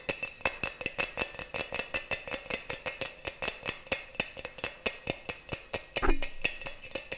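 A small, round, hollow and empty brass pot (lota), held in both hands, is tapped and scratched on its outer metal surface with fingers and nails. About 37 rapid, bright metallic taps ring briefly around 2.6 kHz, and a rougher scratching burst comes near the six-second mark.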